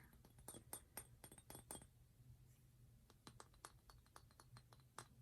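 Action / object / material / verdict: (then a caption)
tap / glass perfume bottle with stone cap / glass / none. Light tapping on an Aqua di Gio glass perfume bottle with a natural stone top produces a quick series of short, bright glassy clicks and clinks. Each tap dies away almost instantly, over a low, steady background hum.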